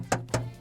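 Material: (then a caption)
Polycarbonate plastic. Two taps on the solid 18-inch polycarbonate plastic wheel cover of a Tesla Model 3 Standard, fitted over a wheel with Bridgestone Turanza 235/45 R18 tires. Each tap is a short, clicky knock with a low ringing body around 117 Hz that dies away quickly. Though the cover is plastic, the taps sound metallic.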